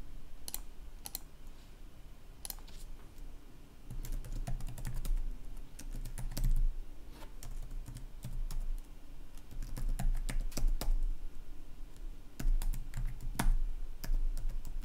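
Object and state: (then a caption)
Plastic laptop keyboard being typed on. Fingertips of both hands type continuously on a black plastic gaming laptop keyboard with red backlit keys, resting on a wooden desk. Quick, irregular bright key clicks and taps come in uneven bursts over a steady low hum that swells and fades throughout.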